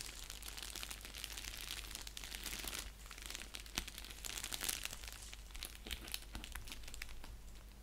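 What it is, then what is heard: Padded bubble mailer envelope. Fingertips and nails scratch and press the bubble-padded surface of a flat, empty-looking orange padded mailer envelope resting on a blanket. Dense, bright crinkling and scratchy crackles run throughout with many quick, sharp ticks that stop instantly, over a faint steady low hum.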